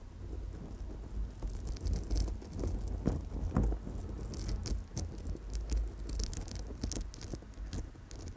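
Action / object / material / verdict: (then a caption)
tap / amethyst stone chip bracelet on metal wire / amethyst / none. An amethyst chip bracelet with a gold-tone wire coil is held close to the microphone while long nails lightly tap and scratch the clustered stone chips. Dense, quiet clicks and scratchy patter run throughout with short, dry transients. The sound is mostly low rumble with brief bright ticks.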